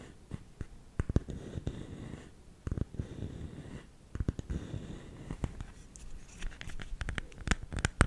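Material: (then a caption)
Bamboo. Fingernails scratch the lid of a round, hollow, lidded bamboo salt container, making a soft, low, rustling scrape. The container is then held in both hands while its lid is tapped, giving a series of sharp, dry clicks that stop instantly with no ring.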